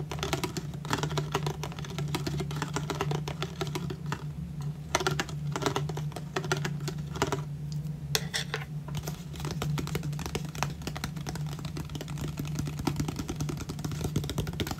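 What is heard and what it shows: An empty 500 ml clear ridged plastic water bottle, hollow, is tapped and scraped with a thin pink stick, then with fingertips and nails. Dense, rapid clicky taps and scratchy scrapes run throughout, with a steady low hum underneath.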